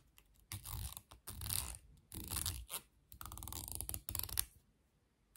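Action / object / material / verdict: scrape / plastic comb with long handle / plastic / none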